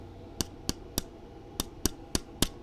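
An official Joy-Con controller that came with the Nintendo Switch, made of normal plastic, is tapped seven times near a microphone with the game audio paused. It gives short, sharp, dry plastic clicks with almost no ring over a faint background hum. This genuine controller serves as the reference sound for comparison with a suspected bootleg one.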